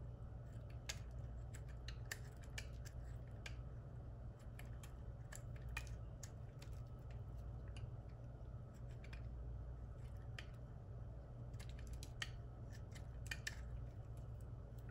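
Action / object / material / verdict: scrape / bar of soap cut with a knife / soap / none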